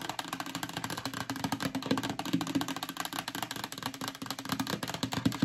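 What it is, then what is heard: Plastic storage bin scratched with nails. Long acrylic nails rub and scratch quickly across the bottom of a hollow yellow plastic storage bin. The result is a dense, continuous patter of short, dry scrapes and taps over a hollow resonance around 270 Hz, with bright scratchy texture on top.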